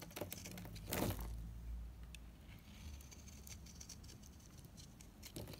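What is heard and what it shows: A solid, dried Ayu cream bar soap is scraped with rapid knife strokes, shaving off crumbly flakes. Quick, dry, uneven scratchy taps and crackles run throughout, with a louder burst near the one-second mark and a low rumble underneath.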